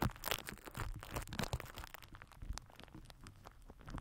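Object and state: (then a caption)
Plastic wrap crinkled over a microphone. A microphone head wrapped in crinkled purple plastic film is rubbed and pressed with the cap end of a plastic glue stick held in the fingers. Dense, crinkly scraping and crackling fills the clip, loudest in the first two seconds and then thinning to quieter, scattered crinkles with a boomy low-end rumble from contact with the mic.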